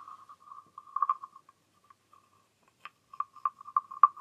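A small, hollow, green wooden frog guiro is scraped with its wooden stick, giving rapid, dry clicking rasps with a narrow mid-pitched tone around 1.2 kHz. The rasps pause briefly, then return in sharper, louder clicks as the frog is handled by hand at the end.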